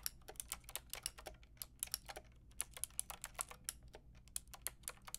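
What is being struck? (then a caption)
Mechanical keyboard with round plastic keycaps. Fingertips and long nails type on a full pink, grey and white mechanical keyboard with round plastic keycaps. About 27 quick, bright, clacky key strikes come through in an uneven rhythm, each one short and dry with almost no ring, over a faint low hum.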